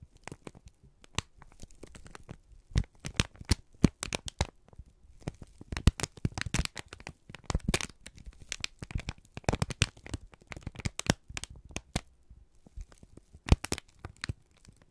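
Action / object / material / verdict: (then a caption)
scrape / kraft paper sheet / paper / none. A wrinkled brown kraft paper strip is squeezed and crinkled by both hands. It makes dense bursts of crisp crackling and sharp crinkly snaps, spread from low thumps up to bright highs, with brief quiet pauses between handfuls.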